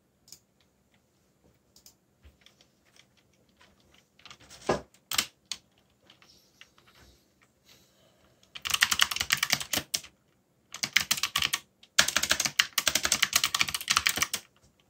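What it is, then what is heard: Plastic mechanical keyboard. Fingertips type on a backlit mechanical keyboard with dark plastic keycaps. Scattered light clicks and a couple of louder clacks give way to dense, fast bursts of bright, crisp key strikes that stop briefly between runs.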